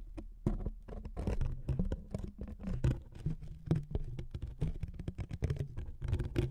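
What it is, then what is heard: Thin wood veneer strip, scratched. A thin, flat wooden veneer strip resting on two foam-covered microphones is scratched with the fingernails of both hands. The result is a rapid, steady patter of dry scratches and short clicks, heavy in the low end, with almost no ring after each stroke.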